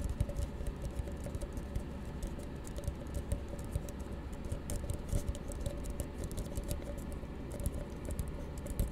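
A small, hollow, empty blue frosted plastic tumbler, held open end down, is tapped by fingertips and nails on its sides and base. The result is a quick, continuous patter of soft, dull taps with short, bright clicks from the nails. A steady low hum sits underneath.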